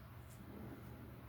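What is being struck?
Nothing is struck.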